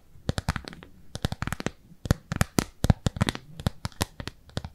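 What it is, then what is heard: Thin plastic lid. Long nails scratch and tap the surface of a thin, translucent, frosted plastic round lid held in both hands. The result is a rapid, uneven series of crisp, dry clicks and short scratches in clustered bursts, each snapping off at once with no ring.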